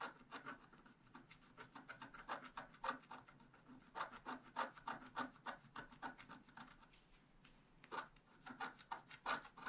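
A wooden stylus scratches fine hatching lines into a black scratch art paper sheet on a table, near the mane and the left edge. Many quick, uneven strokes make a dry, bright scratching and rasping sound with a thin papery rub between them. There is a brief quieter stretch near the end before the strokes pick up again.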